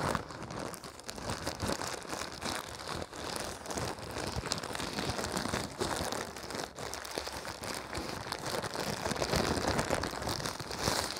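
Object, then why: Thin plastic packaging wrapper. A thin, clear-white printed plastic wrapper is held in both hands while the fingers crumple and crinkle it. The result is a steady, dense stream of crackling and rustling that spreads across the range with a bright, hissy top, staying at an even, moderate level throughout.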